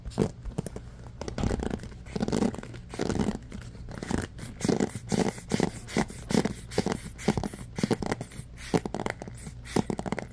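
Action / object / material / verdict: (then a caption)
scrape / bamboo paddle hairbrush with rubber cushion and wooden pins / bamboo / none. Fingertips scratch and flick the wooden-tipped pins of a bamboo paddle hairbrush set in a black rubber cushion. The result is a fast, uneven run of short, dry scratches and soft plucking ticks. The sound is mostly low and mid-toned, with little brightness.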